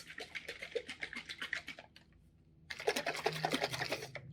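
A bottle of Pottery Peacock low-fire pottery glaze is shaken hard, and the crystals, little pebbles and rocks inside rattle with rapid, bright, gritty clicks. There are two bursts of shaking separated by a short pause. The grit is normal for this glaze and does not mean it has gone bad.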